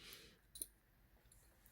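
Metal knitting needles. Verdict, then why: Hollow. Lightweight interchangeable metal knitting needles click against each other, giving two quick, sharp, hollow metallic ticks close together with a bright high ring that dies away almost instantly. The hollow clatter comes from the needles being so light, and it is an unwelcome, grating sound.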